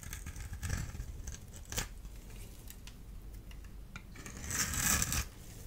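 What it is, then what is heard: Dry bar soap. A small blade tool scrapes and cuts a solid orange-and-white striped dry bar of soap held in the hand. The result is a series of crisp, bright scraping and slicing sounds over a low background rumble, with a sharp cut near the middle and a louder, longer grating scrape toward the end.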